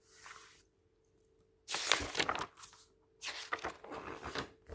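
A flat hand and fingertips press, rub, squeeze and turn the pages of an open glossy paper magazine lying on a table. A soft rustle and a pause give way to loud, bright crinkling and crackling bursts as the pages are worked.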